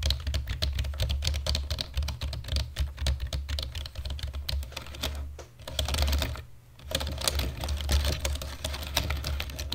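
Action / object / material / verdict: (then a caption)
tap / plastic computer keyboard / plastic / none. Fingertips of both hands type fast on a black plastic computer keyboard, making a dense, steady stream of short, sharp key clicks with bright upper tones over a strong low hum. The typing pauses briefly around six and a half seconds, then resumes at the same rapid pace.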